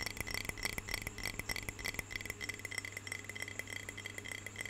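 Long fingernails tap quickly and unevenly on a medium clear glass jar with a lid, filled with water. The result is a stream of short, bright clinks centred around 2.3 kHz that stop almost at once, over a steady low hum.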